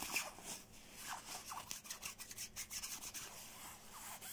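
Fingertips quickly scratch and grip the nylon shell of a black quilted nylon down puffer jacket lying on blue bedding. The result is quiet, bright, hissy scratching and crinkly rustling in rapid bursts, with almost no low end.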